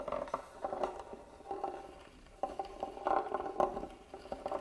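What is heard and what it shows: A small black tool scratches the carved lid of a hollow, hand-carved wooden box lying flat. The result is a series of soft, dry scraping and tapping sounds in short bursts, with a mid-range woody resonance and very little ring.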